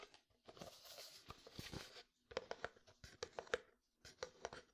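Fingertips and nails tap and scratch on a medium frosted plastic jar with white contents and a lid. Broad, hissy rubbing gives way to a quick run of sharp, hollow clicks with a light ring near 480 Hz, sounding crisp and close.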